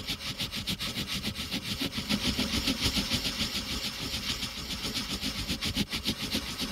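A blue wooden colored pencil fills in the letter C on a flat, thin white paper coloring page, its tip scratching and rubbing over the paper in quick, repeated back-and-forth strokes. The result is a steady, rhythmic, bright scratchy hiss with a soft low rumble underneath.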